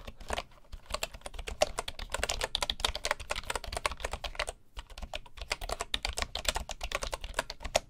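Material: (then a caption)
Bamboo. Fingertips of both hands type steadily on the wooden keys of a full bamboo keyboard. Rapid, short, bright clicks with a dull low knock beneath each keystroke form a dense stream, with a brief pause just before the midpoint.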